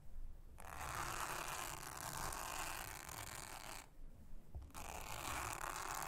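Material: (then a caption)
Silicone. A soft toothbrush is brushed across a thin, solid, round blue silicone honeycomb trivet mat, making a steady, bright, hissing scratch over a low background rumble. The brushing runs for about three seconds, stops briefly, then resumes until the end.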